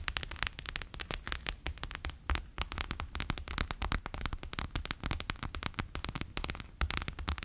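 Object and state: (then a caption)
Water-bead gel pack. A bear-shaped clear PVC pouch full of water beads lies flat on a table and is tapped quickly with fingertips and nails. Dense, rapid tapping produces crisp, bright clicks and sticky crackles over a soft, low thump from the gel-filled pouch, with each tap dying away almost instantly.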